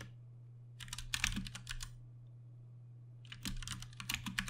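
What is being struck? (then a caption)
Mechanical keyboard with plastic keycaps. Fingertips of both hands type continuous key presses on a compact 60% Ducky One 2 Mini mechanical keyboard with plastic keycaps, Cherry MX Brown switches and RGB backlighting, resting on a desk mat. Two bursts of quick, bright clacking keystrokes with a soft low thud are separated by a short pause, over a steady low hum.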